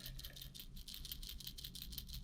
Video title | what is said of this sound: Opening a care package from Get Ur Fish On Steve Chapman | there's a rattle in there in in these two little two little uh things at the bottom here